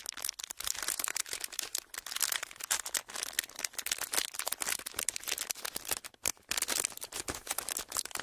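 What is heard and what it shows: A thin, clear, ridged plastic packaging sheet is held in both hands and squeezed and crinkled with the fingertips. It makes a dense, steady stream of bright, sharp crackles and crinkles with almost no low end. The noise drops out briefly just after six seconds before resuming.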